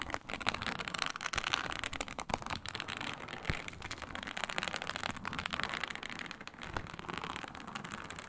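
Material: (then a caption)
Faux leather. Long nails scratch across a flat, iridescent snake-scale faux leather mat, making a steady, dense rasping crackle. The texture is bright and papery, with many quick ticks and scrapes that never quite stop.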